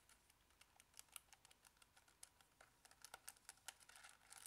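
Fingertips repeatedly press and tap the buttons of a Casio plastic scientific calculator held in front of the body with its screen lit. About two dozen quiet, sharp, bright plastic clicks come in an uneven, typing-like rhythm, each dying away almost instantly, with a soft hiss between them.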